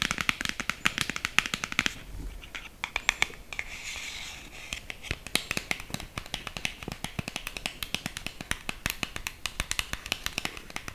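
A small, hollow black cardboard lipstick box is tapped with long green acrylic nails while being held and tilted. Rapid, dry, bright clicks run throughout, each dying away almost instantly, with brief softer scratchy patches between bursts.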